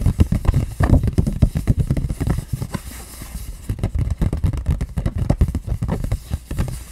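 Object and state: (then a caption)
Cardboard box. A flat, hollow pink printed cardboard lash box is held up in both hands and tapped and scratched with long painted nails. Rapid, dull, low thuds come in quick bursts with a faint scratchy rustle between them. Each tap dies away almost at once.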